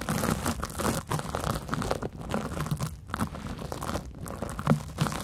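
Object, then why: Porous cellulose sponge. A large, porous yellow cellulose sponge resting on mic foam is scratched with long nails and squeezed by fingertips. It makes a steady, dense crinkling and crunching with bright, rustling texture over soft low thumps, with brief dips between strokes. Each scrape dies away almost at once.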